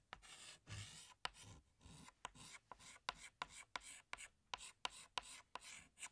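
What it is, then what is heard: Chalk scratching on a chalkboard. A chalk stick held in the fingertips is drawn over a large, flat, solid black chalkboard to sketch flower outlines. Dry, bright scratching comes in short strokes, with about twelve sharp taps where the chalk strikes the board and quiet gaps between each stroke.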